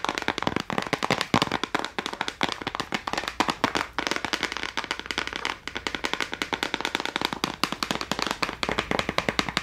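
A small clear plastic case holding a row of colored gel crayons, with a red Castell label, is held in both hands and tapped quickly with long acrylic nails. Fast, sharp clicks rattle out in a dense, continuous stream, crisp and bright with little low end and almost no ring between taps.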